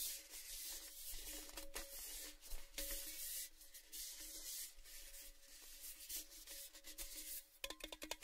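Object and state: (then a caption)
Empty painted metal tin, hollow. Fingertips and nails rub and scratch along the side of an empty, hollow, orange-painted metal Baileys tin canister, a cylinder held in both hands. A soft, bright, scratchy rubbing hiss runs throughout with a faint steady metallic ring beneath it. A quick flurry of light taps closes the clip.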